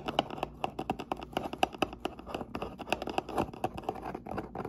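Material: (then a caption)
Cardboard. Long nails and fingertips tap and scratch along the top edge of a medium, closed, hollow brown corrugated cardboard box. A quick, uneven run of dry, hollow taps with a papery tone around 750 Hz mixes with short scratchy rasps, each sound dying away almost instantly.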